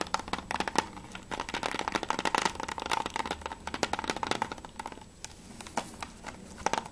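Fingertips and nails tap fast on the cover of a closed hard plastic PS3 game case for Mirror's Edge as it is turned from back to front. A rapid run of short, dry, clicky taps sounds with a faint hollow tone near 900 Hz and a bright edge. Each tap dies away almost instantly, with a brief lull just after the 5-second mark.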